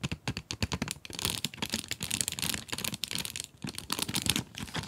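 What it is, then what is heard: Cardboard pencil box with plastic window, full. Long acrylic nails tap quickly on the plastic window of a full cardboard pencil box, making a rapid run of sharp, clicky taps. The taps are bright and crinkly with short decays, sometimes blurring into a continuous rattling patter before settling into clearer, separate clicks.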